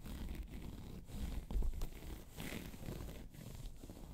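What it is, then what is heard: Faux leather handbag being scratched. Long pointed nails scratch a hollow, round tan crocodile-embossed faux leather handbag. The result is a steady, quiet, rasping scratch with a dull, low, hollow body, swelling briefly louder in the middle and near the end.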